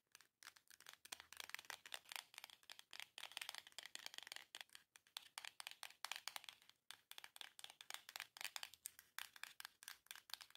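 Long nails tap and scratch quickly across the front and edges of a small, long, hollow printed cardboard box. The result is a rapid, dense run of dry, bright clicks and papery scratching, mostly high-pitched with almost no low end. Each tap dies away almost instantly.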